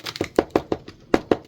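A dried gourd is tapped, giving a series of short, dry, hollow knocks with a low-mid resonance and almost no ring. The hollow sound shows the gourd is fully dry.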